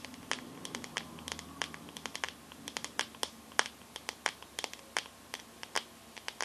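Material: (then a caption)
Glass. Long nails tap and scratch the back of a teal glass-backed smartphone held sideways, making some thirty quick, sharp, bright clicks in an irregular rhythm. Each tap is dry and dies away almost instantly, with a soft scratchy hiss between them.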